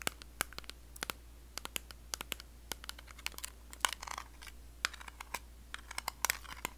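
Long blue acrylic nails tap and scratch the lid and printed back of a small, round, closed blue metal Nivea cream tin. A rapid, uneven series of sharp, bright clicks mixes with brief crinkly scratching rasps. Each tap dies instantly with no ring, over a faint low hum.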